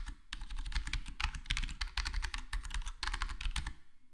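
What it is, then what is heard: Foam-dampened plastic keyboard being typed on. Fingertips of both hands type rapidly on a full-size black plastic HyperX Alloy Core gaming keyboard with square plastic keycaps and a foam-modded, foam-dampened case. The result is a dense run of soft, muted, bright key clicks and taps over a steady low hum, with each tap fading quickly.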